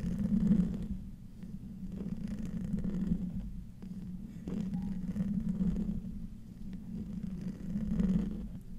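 Short nails and fingertips slowly scratch the hollow metal mesh grille of a silver condenser microphone. The result is a close, muffled, low-heavy rasping and rumbling that swells and fades in slow waves, with little high content.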